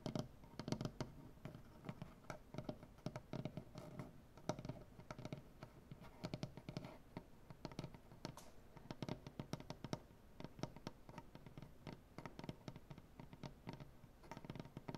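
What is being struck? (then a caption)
Wooden butcher-block tabletop. Dark-painted nail tips of both hands tap and scratch a solid light-wood butcher-block tabletop. Dense, quick, dry wooden taps and scrapes, mostly low and warm, run steadily for the whole stretch with a faint background hum.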